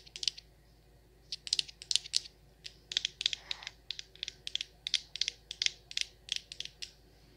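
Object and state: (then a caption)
Frosted glass candle jar. Long nails tap on the glass lid and the sides of a frosted glass candle jar full of wax. The result is about thirty quick, bright clicks centered near 3.5 kHz. They come in irregular bursts, each dying away almost instantly with no ringing, and there is almost nothing in the low end.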